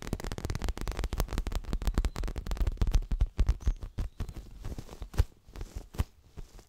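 Long fingernails of both hands tap quickly on a soft, stuffed, dark grey leather-covered pillow. The result is a dense, irregular patter of short, dull low thumps with faint bright nail clicks on top, which thins into sparser, scattered taps toward the end.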